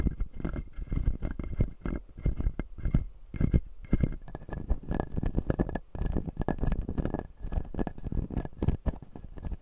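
Fingertips tap and scratch the white plastic teeth of a solid, full, clear acrylic dental model. The result is a dense, uneven patter of soft, dull, low taps mixed with light scraping, each tap dying away almost instantly.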